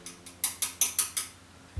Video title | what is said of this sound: Influencia de la Selleta en el Sonido | tú le das un golpecito y suena a piedra, no suena a plástico